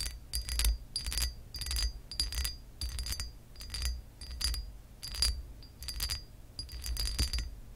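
Long acrylic nails scratch and tap the textured surface of a hollow, embossed glass lamp base. Short bursts of bright, clicky scraping repeat across the clip, each carrying a thin, high glassy ring over a steady low hum.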